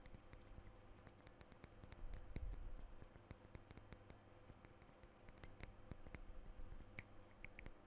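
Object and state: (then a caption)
Glass perfume bottle tapped with nails. Fingernails tap the metal cap and the glass body of a blue glass perfume bottle in quick, irregular bursts. The clicks are short, bright and dry with no ring, and they sit over a quiet, steady low rumble that swells briefly early on.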